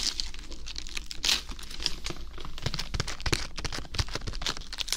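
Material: Lettuce leaves.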